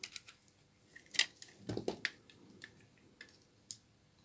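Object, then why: Laundry soap bar cut with a small blade. A small blade scrapes and cuts flakes along the side of a long, solid bar of dry, old brown laundry soap held upright in the hand. About eleven short, crisp, bright clicks and snaps sound at uneven intervals, with a duller, fuller scrape near the middle. Each stops dry with no ring.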